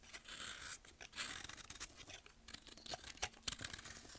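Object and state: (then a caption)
Pressed baking soda block being shaved. A metal blade scrapes and shaves a compacted, pressed block of solid baking soda held in hand over a bowl, letting powder and thin shavings fall. The sound is quiet, bright and gritty, with soft crumbly scraping strokes and a few sharper crunchy catches toward the end.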